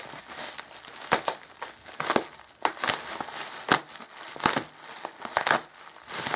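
Bare hands grip and crinkle a bundle of clear plastic bubble wrap wrapped around an item, resting on a black Alienware M11x2 gaming laptop, while a small tool or scissors cuts and pulls at it. A steady, bright crinkling runs throughout, broken by many sharp, dry crackles and snaps that die away almost instantly, with almost no low end.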